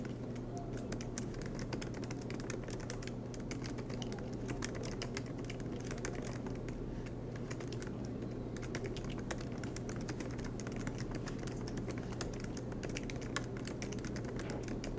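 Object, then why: Plastic laptop keyboard keys. Both hands type continuously with their fingertips on the black plastic low-profile keys of a MacBook Pro laptop with a silver aluminum body, resting on a green desk mat. Rapid, light key taps click steadily and evenly throughout, over a constant low hum.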